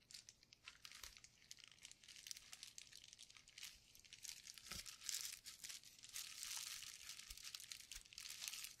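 A painted clear plastic bubble wrap sheet with hollow bubbles is held up close in gloved hands while the fingers flex, crinkle and squeeze the bubbles. The result is a quiet, continuous stream of bright, dry crinkling and crackling, with occasional sharper snaps standing out.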